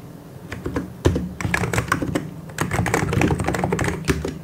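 Fast two-handed fingertip typing on a white and grey plastic mechanical keyboard gives a dense run of short, clacky keystrokes with a low, thocky body and quick decay. The pace builds into near-continuous bursts, with a few heavier strikes standing out, such as a thump around one second in.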